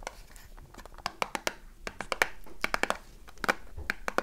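A small, closed cardboard soap box is turned in the hands while long nails tap quickly on its faces and edges. The result is a fast run of short, dry clicks and taps with bright crackle. Scratchy rustling fills the gaps between the taps.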